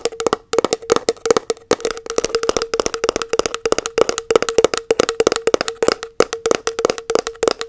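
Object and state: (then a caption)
Plastic tub lid tapped with nails. Long nails tap rapidly on the labelled lid of a round plastic body butter tub held in one hand. The result is a dense run of quick, dry, clicky taps with a hollow knock near 460 Hz and almost no ring.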